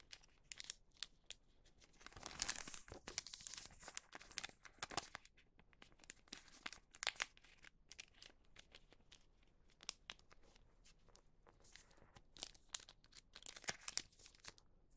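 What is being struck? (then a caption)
Wax paper bag. A flat, folded wax paper bag has its bottom edge creased and smoothed with the fingertips. Bright, dry crinkling and rubbing come in quick, close bursts, with a denser stretch of crackle early on and quiet pauses between.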